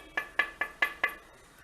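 A heavy, long-lasting black fired clay kadai, its black color from burning the sand four times, is tapped five times, as one would to check a clay vessel for cracks. Each tap gives a short, bright clink ringing near 1.7 kHz that dies away within a fraction of a second.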